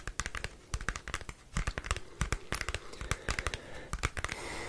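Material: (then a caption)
Cardboard. Fingernails scratch and tap the surface of a small, thin, flat square cardboard CD album sleeve with a printed photo. Quick, sharp dry clicks and taps with low thuddy bodies come in irregular bursts over a soft scratchy rustle, which becomes a steadier hiss toward the end.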